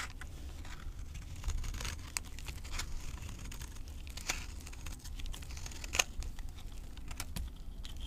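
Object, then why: Soap bar cut with a knife. A knife blade scrapes and cuts crumbly chunks off the surface of a solid, dry green avocado soap bar held in both hands. Quiet, crisp scraping and crumbling plays throughout, with sharp bright clicks and crackles scattered over a low, steady rumble. The loudest snap comes near the six-second mark.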